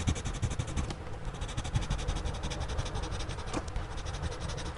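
A gloved hand shades with a blue-bodied pencil on a spiral-bound sketchbook page resting on a flat surface. Quick, steady scratching strokes repeat at about three per second, with a soft, low-heavy texture and a faint, bright hiss.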